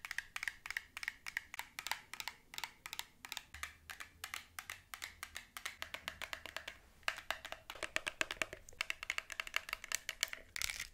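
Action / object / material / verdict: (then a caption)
tap / plastic squishy ice cream toy with soft top and hard cone base / plastic / none. Long nails tap and scratch rapidly on a plastic squishy ice cream toy, a purple glittery soft-topped toy on a blue plastic cone base, held close. Dense, crisp, bright clicks centered around 2.2 kHz die away almost instantly, with a faint low hum underneath from about the midpoint.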